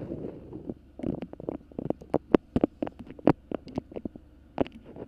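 A colorful patchwork beeswax fabric food wrap is bunched over the microphone while long pink nails grip, crinkle and scratch it. A soft low rustle gives way to a run of sharp, dry crackles and taps with no ring, some standing out louder than the rest.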